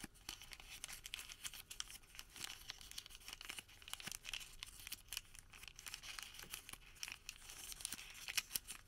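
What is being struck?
Thermal paper receipt.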